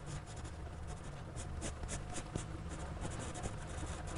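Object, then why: Graphite pencil on a paper sketchbook page. A black graphite pencil held in a gloved hand sketches on the page of a spiral-bound paper sketchbook lying flat. Throughout, the pencil tip makes a steady, dry scratching as it moves along the paper. Brief brighter strokes stand out over a low, soft rumble.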